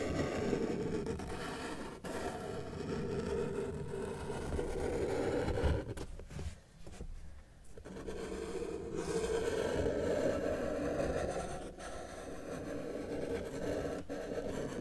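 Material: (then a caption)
Paper. A felt-tip marker held in the fingers is dragged across a flat white sheet of paper resting on a solid table, drawing lines. It makes a steady, low, dry scratching with brief pauses, and a quieter gap in the middle before the strokes resume.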